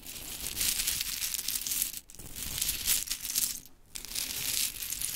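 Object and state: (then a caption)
Pile of mini wooden clothespins. Long chrome nails scratch and rake through a pile of pink wooden mini clothespins, making a bright, dense clatter of small pieces clacking against each other. The rustling clicks come in bursts, with two brief pauses between them.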